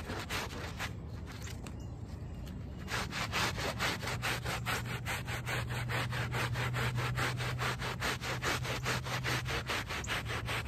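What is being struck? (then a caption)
Wet woven fabric rug backing scrubbed with a hand brush. A small handheld brush with a brown back scrubs the back side of a small, wet, soapy, dirty woven rug lying on pavement. Steady, rhythmic rasping strokes repeat at about two per second, softer for the first three seconds and then louder and brighter. A low hum runs underneath.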